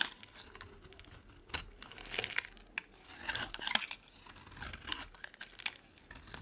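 A metal blade scrapes long curls off the surface of a dry, solid, oval, light green soap bar held in the palm. The result is quiet, bright, raspy scraping strokes with crisp crackles, coming in uneven bursts separated by short pauses.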